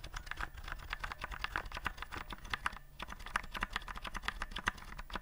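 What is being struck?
Plastic keyboard with round keycaps.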